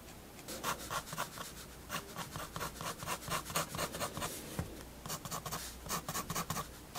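A fineliner pen draws long, sweeping lines on the paper page of a spiral sketchbook. Each stroke is a soft, bright, scratchy rasp, and the strokes come in a quick, irregular series over a faint, steady low hum.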